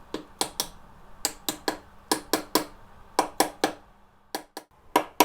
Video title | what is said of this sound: Back on 2 Wheels! 2 Stroke Rebuild - Part 6 | a different noise when you're tapping it when it's gone fully home and it's a much more solid Clank to it